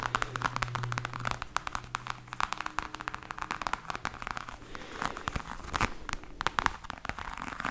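Long nails scratch and tap across a black croc-embossed patent faux leather hard case, over its raised scales. Dense, dry clicks and crackly scratches pile up quickly, bright and sharp with almost no ring, over a faint steady low hum.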